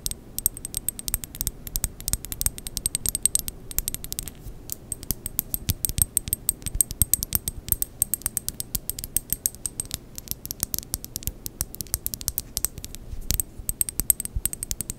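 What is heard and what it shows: A small rectangular glass perfume bottle with a black cap, partly filled with liquid, is held in both hands close to the microphone and tapped and scratched with long painted acrylic nails. Dense, rapid clicks and taps with a bright glassy tinkle sound over a low rumbling background, with scratchy rustling between the sharp, quickly fading strikes.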